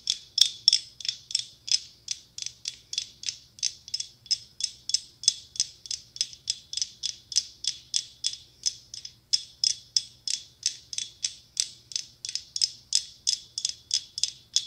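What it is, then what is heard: Mosaic glass pumpkin. A hollow, round decorative mosaic glass pumpkin covered in small red, gold and silver mirrored glass tiles, with a curled glass stem, is held in one palm and tapped and scratched with long acrylic nails. Rapid, fairly even bright clicking taps, around four dozen of them, sound at roughly three per second, each a crisp glassy tick that dies away almost at once, over a faint low hum.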